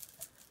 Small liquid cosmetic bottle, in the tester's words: you can hear the thing going around